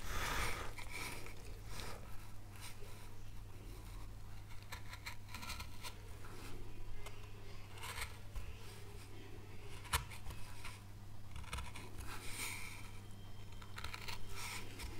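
A knife tip scrapes and cuts along the outline of an oak leaf carved into a small, solid, light wooden board held in gloved hands. Soft, dry rasping scrapes and brief sharp nicks sit over a steady low hum.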